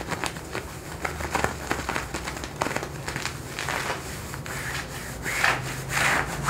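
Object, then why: Denim jeans fabric. Fingertips and nails scratch and rub worn blue denim jeans, thick cotton twill stretched over a raised thigh. Dry, raspy scratching strokes come in quick bursts over a faint steady low hum, with louder, brighter rubbing swells toward the end.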